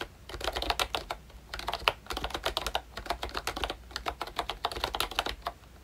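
Fingertips type steadily on the round keycaps of a pink plastic ROYCHE Disney Mickey Mouse retro membrane keyboard with a hollow body. The result is a rapid, uneven run of short, bright plastic clicks and clacks, each dying away almost instantly, with little low-end thump.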